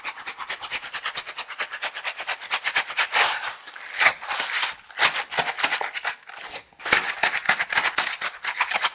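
A pair of yellow silicone dishwashing gloves with bristle pads, worn on both hands, has its palms and bristles rubbed and pressed together. The result is a rapid, rhythmic run of bright, scratchy rubbing strokes with almost no low end. A few longer, louder swishes break up the pattern along the way.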